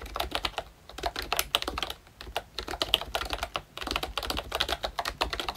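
A full-size ROYCHE Disney Mickey Mouse retro membrane keyboard with round plastic keycaps is typed on continuously with the fingertips of both hands. It gives bright, quick plastic clicks and clacks in rapid bursts, with short pauses near 0.7, 2.1 and 3.7 seconds. Each keystroke dies away almost instantly.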